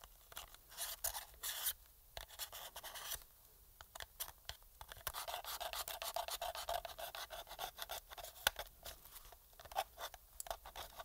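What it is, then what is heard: Plastic game controller. A thin metal pick scratches along the seams on the front and around the light bar of a hollow black plastic PS4 controller. The result is quiet, bright, dry scratching and rasping in quick irregular bursts, with brief pauses between strokes and little low end.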